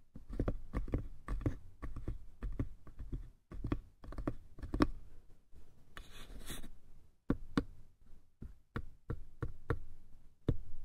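Fingertips tap the lid and sides of a small, hollow, light-wood lidded box with a brass latch, making a quick series of soft, dull knocks that are heavy in the low end and die away almost instantly. Midway there is a brief, bright, hissing scrape before the tapping resumes in more spaced-out knocks.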